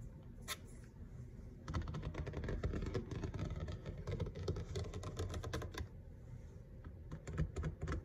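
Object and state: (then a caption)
Laminate kitchen countertop. Fingertips and short nails of both hands tap fast on a large, flat, solid grey kitchen countertop, probably laminate. A lone tap is followed by a burst of dense, rapid tapping that eases off near the end and picks up again. The taps sound as dull, low thuds with short, crisp clicks.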